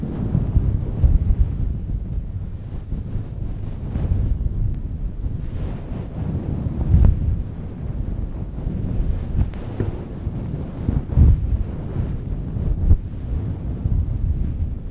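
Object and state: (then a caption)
Faux fur microphone windscreen being scratched. Long nails scratch the sides of a fluffy grey-white synthetic faux fur microphone windscreen. The result is a steady, muffled, low rumbling rustle with no bright content, broken by a few louder, boomy thumps.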